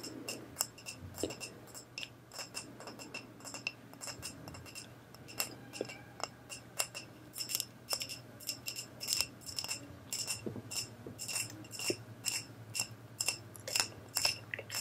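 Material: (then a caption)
Glass. Long nails tap and scratch a cylindrical makeup brush holder covered in cracked mirror glass mosaic and filled with makeup brushes. Bright, sharp glassy clicks with a very short ring come about twice a second at an uneven pace, mixed with soft scratching over a faint low steady hum.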